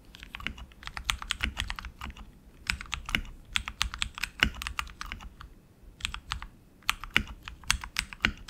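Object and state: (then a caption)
Mechanical keyboard, plastic keycaps on metal frame. Both hands type continuously with their fingertips on a tenkeyless RGB mechanical keyboard with tactile switches, plastic keycaps and an aluminum frame. It produces a rapid, uneven stream of short, bright keystroke clicks with soft low thuds beneath, coming in bursts separated by brief pauses.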